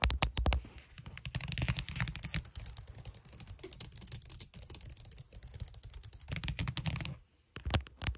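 Long nails type and tap quickly on the keys of a white plastic computer keyboard, producing a dense stream of sharp, clicky keystrokes with a deep thud underneath and bright clatter on top. Two heavier bursts of typing stand out near the start and just before the end. A brief near-silent pause is followed by a few last loud taps.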